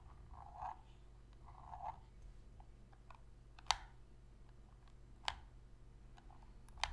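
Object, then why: Plastic game controller. Long pink fingernails tap and click the shoulder buttons of a hollow black plastic Sony PS3 controller held on its edge. Soft, muffled taps around a mid pitch come first, followed by three sharp, bright clicks spaced well apart that stop instantly with no ring, all against a quiet low hum.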